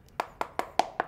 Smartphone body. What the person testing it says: Jadi mau diketok dibagian manapun dia bakal Suaranya kayak gitu Oke jadi dia lebih empuk